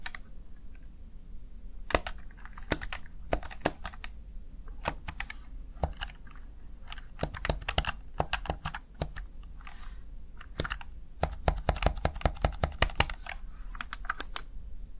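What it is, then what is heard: Plastic gaming keypad. Fingertips tap the keys of a Razer Tartarus Chroma plastic backlit gaming keypad, producing sharp, bright plastic clicks with no ring in an uneven typing rhythm. The taps come sparsely at first, then in quicker bursts toward the end, over a steady low background hum.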